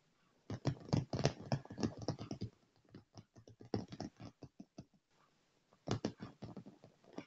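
Fingertips and short nails of both hands rapidly tap and scratch a dark padded leather chair armrest with solid upholstery. Dull, low thuds mix with soft scraping in quick irregular bursts, pausing near the middle and resuming toward the end.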